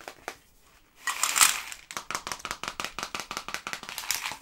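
A long yellow printed cardboard tube filled with small hard candies is held upright, shaken and tapped with the fingers. After a couple of faint early taps, a bright rush of rattling swells up. It is followed by a steady run of quick, sharp candy rattles against the cardboard that continues to the end, crisp and high with almost no low end.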